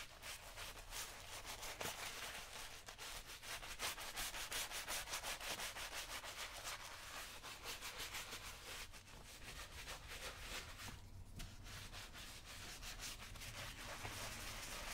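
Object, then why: Leather work boot scrubbed with a bristle brush. A wooden-handled bristle brush scrubs back and forth over the toe and vamp of a brown leather lace-up work boot, worn on the foot on a shoe-shine stand and covered with cleaning lather. The result is a steady, fast, bright scratchy rubbing that runs continuously for the whole clip, with a faint low rumble beneath it.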